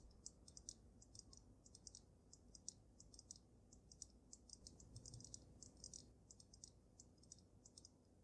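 Long nails rapidly tap the sides of the glass dome of a water-filled dragon snow globe, making quick, bright clicks with almost no ring. The taps come in uneven clusters over a steady low rumble.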